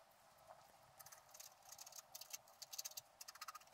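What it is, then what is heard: Wax-coated scratch art card being scratched. A wooden stylus scrapes the black coating off a flat wax-coated scratch-art sheet in the sky and squirrel areas while the other hand holds the sheet steady. Quiet, bright, dry scratching comes in short, irregular strokes that grow denser toward the end, with no low end and no ringing.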